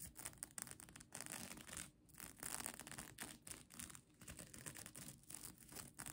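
Long nails scratch and tap the plastic sequins of a folded sequin mermaid tail blanket held in one hand. The result is a quiet, continuous bright scratchy rustle with quick, sharp clicks and short pauses between strokes.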